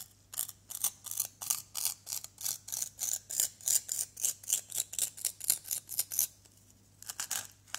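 A white plastic knife blade scrapes and carves a small, solid orange plaster excavation block. A steady run of short, bright, gritty scraping strokes comes about three or four per second, then briefly pauses before a few more quick strokes.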